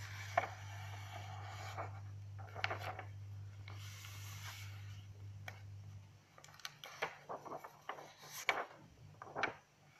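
Long acrylic nails tap and scratch across the paper of an open lined notebook resting on a table, and a page is lifted and turned with soft rustling. A steady low hum runs under the first six seconds, then drops away, leaving a quieter stretch of short, sharp nail taps and bright paper scrapes.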